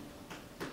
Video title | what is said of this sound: Vegetable Gardening 201 | Thump your leather boot, your leather shoe, and that sound should replicate what a ripe watermelon sounds like